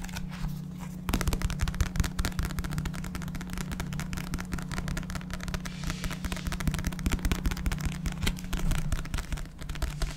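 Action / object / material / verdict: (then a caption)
tap / paperback book, paper / paper / none. A small black paperback book with a paper cover, a barcode and solid pages is held up and tapped and scratched with fingertips and nails. After a quieter first second, a dense run of quick, dull, low-heavy taps mixed with dry scratching continues to the end over a steady low hum.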